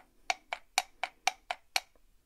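A small hand-carved wooden puzzle is tapped seven times in a steady rhythm. Each tap is a short, dry, bright knock with almost no ring, followed by a faint softer tick at the end.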